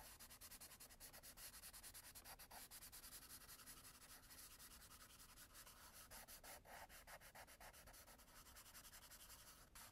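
An orange graphite pencil scribbles dense hatching back and forth on a tan toned sketchbook page lying flat. The result is a continuous bright rubbing and scratching sound made of rapid, evenly repeated strokes that holds steady for the full ten seconds.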